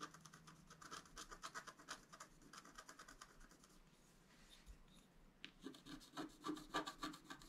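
A wooden stylus scratches the floral and antler area of a black scratch art card, a flat black-coated scratch paper sheet lying on a table. Quick, bright, rhythmic scratching strokes repeat at about three to four per second, thin out to a soft hiss in the middle, then return louder and sharper toward the end.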